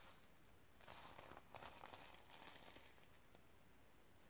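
A sequin-covered notebook is held up while long nails scratch and brush across the sequins. Soft, bright crinkling and rustling scratches come in uneven bursts with faint clicking over a quiet, low background hum.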